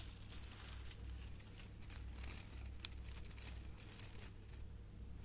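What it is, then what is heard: Metallic foil gift bow. A silver metallic foil ribbon gift bow is scratched and crinkled by long nails and fingertips. Quiet, continuous bright crinkling and rustling runs over a steady low hum, with one sharper crackle near the middle.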